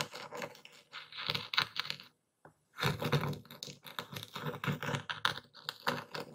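A dark stone pestle, held in one hand, is pressed and ground into coarse white Epsom salt crystals in a wooden bowl while the other hand steadies the bowl. Dense, bright, crunchy crackling and gritty scraping come in uneven bursts, with a brief silent pause just after two seconds before the grinding resumes.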